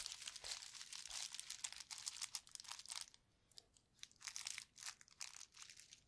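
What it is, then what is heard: Plastic bubble wrap sheet. Gloved fingers flex, crinkle and squeeze a painted sheet of clear plastic bubble wrap with hollow bubbles, held up close. Dense, bright crackling and crinkling fills the first three seconds with no low end. After a brief quiet stretch, it returns in shorter bursts of crisp crackles.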